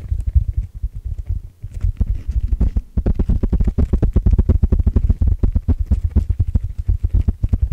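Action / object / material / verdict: scrape / open-cell foam sponge block / foam / none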